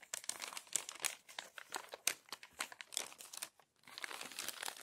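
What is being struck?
Glossy paper magazine.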